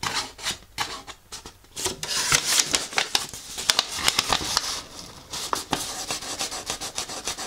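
Fingertips and nails rub and scratch across a thin, folded paper instruction leaflet. The result is an irregular run of short, dry, bright scratching and rustling bursts with almost no low end, briefly quieter around the first second and again near the five-second mark.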